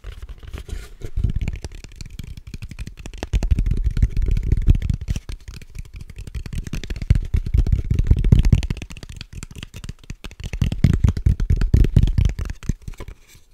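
Long nails tap and scratch the sides of the same small, hollow, purple cardboard gift box held close to the microphone. The result is a dense, uneven run of dull, low, hollow taps with soft scratchy rustling and almost no ring. It swells into louder bursts in the middle and near the end before fading out.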